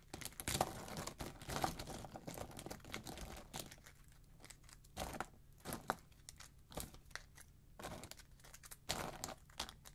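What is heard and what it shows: Fingertips press, bend and crumple a pile of thin, solid, pale yellow wax flakes on a dark surface, cracking and tearing them. The result is dry, crinkly crackling with sharp, bright snaps and short rustling bursts, separated by quieter pauses over a faint low hum.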